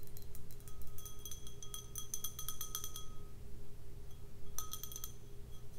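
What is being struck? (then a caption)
Glass snifter. Long red nails tap the bowl of an empty, hollow, clear stemmed snifter glass, making rapid bright clinks and ticks that ring only briefly. The tapping comes in a dense burst, pauses for about a second, then returns in a shorter flurry, all over a steady low hum.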